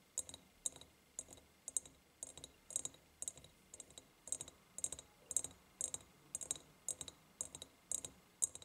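Long painted nails tap and click on the sides of an empty, ribbed, clear glass jar. Quiet, bright, dry clicks land in small uneven clusters, roughly every half second. Each click stops almost instantly, with no ring.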